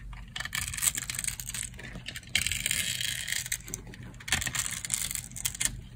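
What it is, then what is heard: Dry soap bar. A solid rectangular bar of dry green soap, held in the hand, is sliced with a metal utility knife blade. Bright, crunchy cutting and scraping strokes come in bursts with brief pauses between them.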